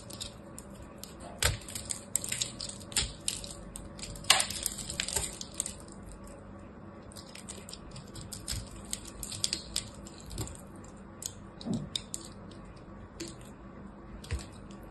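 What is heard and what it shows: A hand-sized solid ball of pressed multicolored soap chips, held in a hand with long red nails, is carved and scraped with a small black blade. Crisp, bright crunches and crumbling crackles come in uneven bursts over a low steady hum, with the sharpest snaps near the start and middle.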